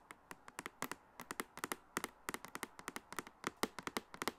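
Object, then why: Plastic makeup case with clear lid. Long acrylic nails tap across the clear plastic lid of a medium, hollow makeup case with a silver frame, filled with cosmetics and held on the lap. Thirty short, crisp, bright clicks come in an uneven rhythm, each dying away almost instantly against a quiet background.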